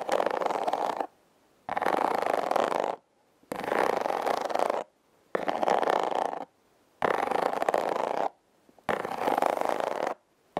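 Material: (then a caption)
Cardboard. Long red acrylic nails scratch across the ridges of a hollow, hand-sized red heart-shaped corrugated cardboard box. Six steady bursts of dry, rasping scratching, each just over a second long and separated by brief silences, carry a mid-range grainy texture with some bright edge, and a seventh burst begins at the very end.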